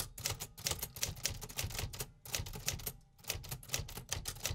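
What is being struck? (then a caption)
Metal manual typewriter keys and typebars. A 1950s Remington Quiet-Riter manual typewriter with a cream metal body and round metal keys is typed on steadily with fingertips, driving the typebars. Rapid, sharp metallic clacks fall in a brisk, uneven rhythm with bright, short-ringing strikes over a low mechanical thump, with a brief pause near the middle.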